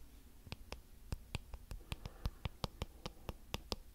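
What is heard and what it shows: Fingertips scratch and flick the thin, flexible plastic bristles of a small blue plastic hairbrush with a cartoon back. About sixteen short, dry flicks snap out at an uneven pace, each a quick bright tick that dies almost instantly. A soft low rumble and faint scratching sit underneath.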